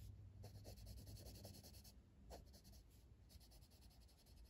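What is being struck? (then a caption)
Colored pencil on a paper page. A hand shades a flat paper page of an open coloring book with a blue colored pencil, using repeated back-and-forth rubbing strokes. Quick, soft, bright scratching comes in rhythmic bursts, with brief pauses around two and three seconds over a low, quiet background hum.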